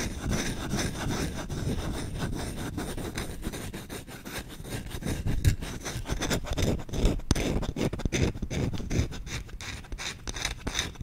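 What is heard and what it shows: The bowl of a solid wooden spoon is scratched and rubbed quickly with short nails. The result is a fast, steady stream of dry rasping strokes with a heavy low rumble under faint bright scratchiness.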